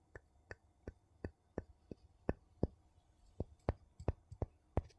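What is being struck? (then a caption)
Metal screw lid on a glass jar, tapped with a wooden scoop. The edge of a wooden scoop scrapes and taps along the rim of a ridged gold metal screw lid on a small empty glass jar. A quiet series of short, dry taps comes at a loose, roughly steady pace, with faint scraping between them. Each tap stops at once with no ringing.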